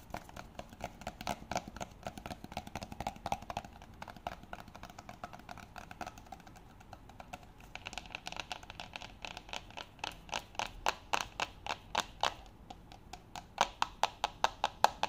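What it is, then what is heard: Wooden container lid. Fingertips and nails scratch and tap the flat top of a round, light wooden lid with visible grain, sitting on a green-banded cylindrical container that looks hollow. Soft, dry scratching gives way to quick, crisp taps with a hollow knock, growing brighter and louder toward the end.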